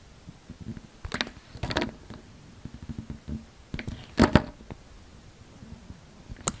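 A utility knife blade shaves thin strips from the surface of a solid, oval, light green soap bar held in the palm. Soft, short scraping rasps and brief bright bursts stand out against a quiet, low background, with the loudest cut near the middle.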